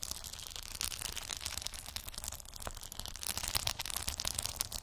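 Long acrylic nails scratch and tap across a round cork board covered with small colorful plastic gummy bear beads. The result is a dense, crisp stream of fine high-pitched clicks and rustling scratches, growing slightly louder and sharper toward the end.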